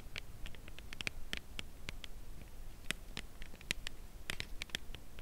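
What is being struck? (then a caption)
Cardboard chocolate bar box. A dark brown Lindt Creation Caramel cardboard box holding a chocolate bar is held horizontally and tapped along its side with long acrylic nails. Quick, dry, bright clicks patter in an uneven rhythm, each dying away almost instantly over a steady low background hum.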